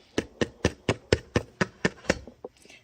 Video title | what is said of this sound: How to Make Bread - Bread Baking 101 Lunch Thyme with Leona | that's that Hollow sound and that is your indicator to let you know our bread is ready